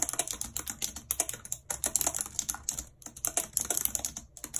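Very long red acrylic nails and fingertips type continuously and quickly on the hollow keys of a full-size white and silver plastic computer keyboard with a numeric keypad, lying on a map. Around thirty sharp, bright plastic clicks and clacks come in quick bursts, each dying away almost instantly, with little low-end weight and brief pauses between runs.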